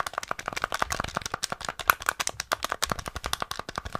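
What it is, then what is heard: Plastic game controller. A small, flat, hollow grey and black plastic NES rectangular gamepad is held in the hands while fingertips rapidly press and tap its buttons and d-pad. About 29 quick, dry plastic clicks and taps follow one another with almost no ring, each a sharp, bright snap.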